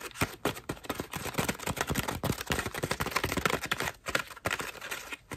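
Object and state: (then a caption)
Foam bath loofah. Long nails tap, scratch and squeeze the petals of a cream foam bath loofah. The result is a rapid, uneven run of short, dry crackling taps and scratchy rustles that stop almost instantly, with bright, crisp detail over a light low end.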